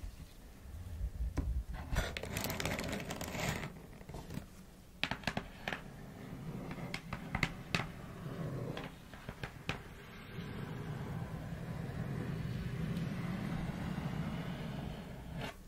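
Long fingernails on both hands tap and scratch the closed lid of a black cardboard shoebox. Bursts of dry, bright scratching come first, then a run of sharp, papery taps with a short hollow knock. A steady, rasping scrape over the lid follows to the end.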